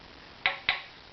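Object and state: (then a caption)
Violin bridge tap tone slightly high. Two light, sharp taps on a wooden violin bridge at the A string position, each a bright tick that dies away within a fraction of a second. The bridge's tap tone sounds slightly higher than a 198 Hz reference, so this spot is judged a little too high in pitch and is then filed.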